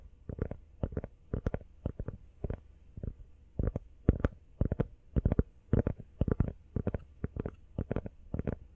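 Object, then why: Rubber phone case. Fast tapping on a rubber iPhone case produces dull, low thuds centered around 90 Hz. The taps come in quick, uneven clusters with no ring after each one, and the overall sound is muffled and soft.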